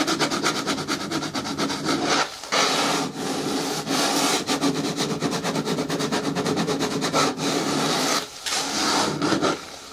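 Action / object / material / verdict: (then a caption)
scrape / hard plastic bin with lid / plastic / none. Long nails scratch and rub along the side edges of a hollow green hard plastic bin with a lid. The result is a steady, dry rasping of quick repeated strokes with a bright edge, broken by short pauses near 2.3 and 8.3 seconds and again at the very end.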